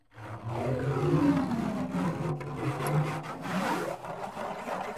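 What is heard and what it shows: Fingernails scratch the orange wooden frame of a handheld tambourine with metal jingles, held close to the mic. The result is a continuous, low, rough scraping that rises and falls in pitch, with a humming, resonant body and little high brightness.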